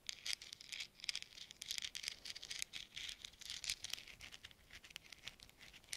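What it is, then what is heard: Metal thimbles tapped together. Small hollow metal thimbles worn on gloved fingertips are pattered and tapped against one another in front of the microphones. The result is a quiet, continuous run of quick, light metallic clicks and rattles, bright and high with almost no low end. Each tick dies away almost instantly.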